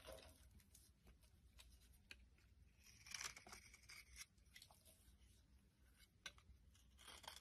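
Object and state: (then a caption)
Bar soap being scraped. A metal blade scrapes the surface of a solid pink bar soap held in the palm, sending flakes falling. The scraping is a quiet, dry, papery rasp, mostly bright and airy, with a few louder crisp strokes standing out over a faint low rumble.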